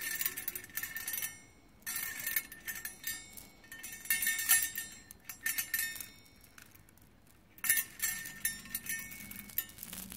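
A hand drops and drapes teal and green metallic plastic bead strands into an open round metal tin already holding a pile of gold and green beads. The beads clatter and clink brightly against the metal and each other in several bursts of rattling, with short quiet gaps between them.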